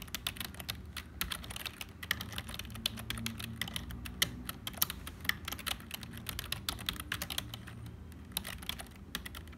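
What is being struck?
Plastic computer keyboard.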